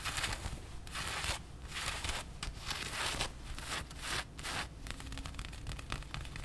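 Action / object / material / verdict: scrape / printed cotton t-shirt / cotton / none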